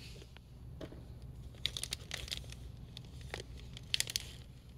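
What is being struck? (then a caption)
Glossy plastic film bag holding cards. Fingertips grip and squeeze the top of a hanging "Say it again game" card-game pouch, a hollow, glossy flexible plastic film bag holding cards on a store peg. Bursts of bright, sharp crinkling come in uneven clusters over a steady low hum.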